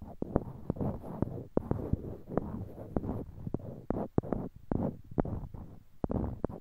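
Small, solid, light-colored wooden cubes, held in pairs in each hand near a binaural microphone, are clicked and knocked against one another with the fingertips. About twenty sharp, dry knocks sound at an irregular pace over a soft, low rumble of handling noise. Each knock is short with almost no ring.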